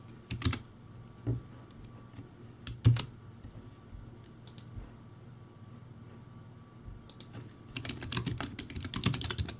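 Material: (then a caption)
Plastic. Fingertips of one hand press the round white plastic keycaps of a backlit, low-quality plastic typewriter-style keyboard. Scattered, bright, clicky keystrokes with a hollow low thump rise over a quiet steady hum, then gather into a quicker, denser run of typing near the end.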